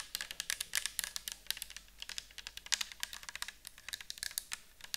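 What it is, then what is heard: Plastic bottle tapped with nails. Long acrylic nails rapidly tap and scratch a round clear bottle with a white cap, likely plastic and partly filled with orange liquid, as it is held and tilted. About 36 quick, light, bright clicks patter in an uneven stream, each dry and stopping at once with no ring, over a faint low background.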